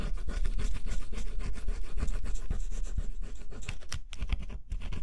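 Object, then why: Cardboard jigsaw puzzle with scratch-off coating. A small tool scrapes the black scratch-off layer on a flat, solid cardboard jigsaw puzzle. It makes rapid, uneven scratching strokes with a dry, gritty texture and a low rumble underneath. The scratching continues steadily, with a couple of brief pauses near the end.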